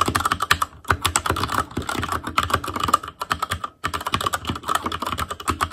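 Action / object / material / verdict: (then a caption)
tap / mechanical keyboard with plastic keycaps / plastic / none. Fingertips of both hands type rapidly on a full-size ASUS ROG Claymore Core keyboard with plastic keycaps on Cherry MX Red switches over a metal plate, in a hollow case with RGB backlight. The many dense key taps sound crisp and clacky, with a bright tick in each stroke and very little ring, broken by brief pauses near 1 second and just before 4 seconds.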